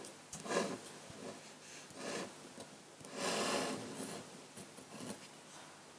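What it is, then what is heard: Pen nib scratching on drawing paper. A metal dip-pen nib in a wooden holder scratches fine lines for tree branches across a large flat sheet of white paper. Four quiet, bright, scratchy strokes are heard, separated by near silence, with the longest stroke in the middle of the clip.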